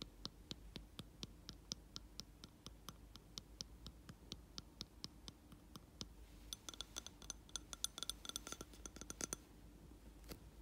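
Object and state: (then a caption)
Glass candle jar. Fingernails tap and scratch the rim and side of a round glass jar holding a lit candle filled with wax. A steady run of quick, short, high clicks gives way to a denser flurry of brighter glassy clinks and scratches from about 6.5 to 9.5 seconds, then slows again. The sound is quiet throughout.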